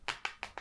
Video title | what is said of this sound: Samsung Galaxy S20 FE 5G Review - My Phone Of 2020 | it sounds plastic when you flick it like that